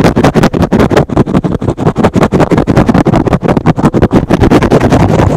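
A soft, porous, hand-sized rectangular green and blue synthetic foam sponge, held in one hand, is aggressively scratched with fingertips and short nails. The result is a fast, uneven run of short, muffled, rasping scrapes, about three per second, heavy in low and mid tones with very little bright edge.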